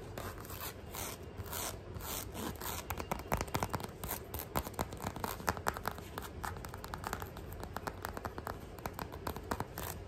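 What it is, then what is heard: Rubber sandal sole. Fingernails scratch quickly across the chevron tread of a beige rubber sandal sole held in the hand. The result is a dense run of rapid, dry rasping scrapes with no ring, some louder strokes standing out.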